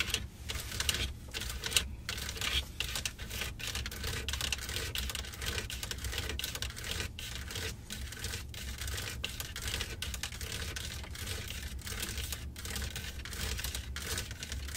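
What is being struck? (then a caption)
Plastic car radio control panel. Long nails of both hands tap and scratch the fixed, medium-sized radio and climate control panel of a Benz, with its plastic buttons and glossy plastic face. The result is a dense, continuous stream of quick, dry, bright clicks and scratchy rasps that stop almost instantly, over a steady low hum throughout.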